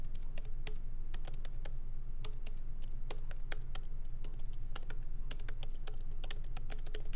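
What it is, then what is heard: Laptop keyboard with plastic keys. Both hands tap lightly with their fingertips on the plastic keycaps of a MacBook Pro laptop set in an aluminum body, resting on a wooden desk. Quick, irregular clicks with short, dry decay ride over a steady low hum.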